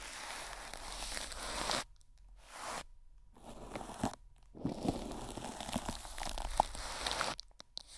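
A long-handled makeup brush is swept and rubbed over the top and sides of wrinkled clear plastic cling film covering a microphone head with a hollow metal grille underneath. It makes dense, bright crinkling and crunching rustles in close bursts, broken by brief near-silent pauses between strokes.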